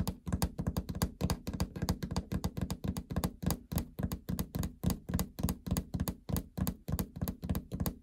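Long fingernails tap rapidly on the hollow plastic console panel just below a treadmill's LCD display window. About forty dull, low, hollow knocks come in an uneven rhythm, each dying away at once with no ring.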